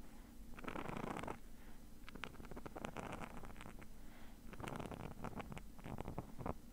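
Fingernails scratch the nylon mesh surface of a small, hollow, black padded zip bag held still in one hand. Bursts of dry, rasping scratches come in uneven strokes with bright crackly edges over a low, hollow rumble from the padded body.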